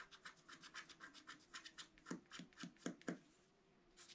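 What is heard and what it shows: A thin wooden stylus, held in the fingers, scratches lines into the coating of a flat black-coated A4-size scratch art card lying on a table while the other hand holds the card flat. The result is a quiet, quick series of short, dry, bright scratching strokes, some with a firmer low-pitched scrape. A faint steady low tone runs underneath, and after a brief pause a final bright scratch ends the clip.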